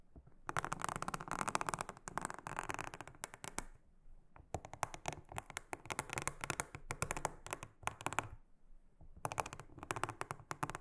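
A small silicone-headed brush is swept across a large, flat, solid, round blue silicone honeycomb trivet mat. The result is rapid, bright, papery scratching strokes that come in three busy bursts separated by short pauses.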